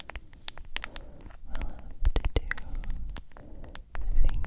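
A medium cylindrical G Fuel plastic powder tub with a white lid and a printed label is tapped with long acrylic nails on its lid and sides. Many quick, light clicking taps form an irregular patter over a low, muffled body thump, and each tap fades quickly. The tapping grows fuller and louder toward the end.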